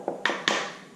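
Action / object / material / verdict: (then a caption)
tap / plastic car emblem badge / plastic / hollow. Three light taps on a cheap aftermarket "carbon flash" Corvette emblem badge give short, hollow plastic clicks with a bright ring around 1.8 kHz. The badge turns out to be plain plastic rather than a composite material, which is why it is so light.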